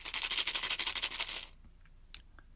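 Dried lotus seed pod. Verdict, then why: Loose. A dried American lotus seed pod is shaken, and the loose seeds inside rattle in a bright, dry burst of about fourteen quick rattles for roughly a second and a half. It then falls quiet apart from a few faint ticks and one short, sharp click. The noise comes from the seeds loose inside the matured pod, which normally fall out and float away on the water.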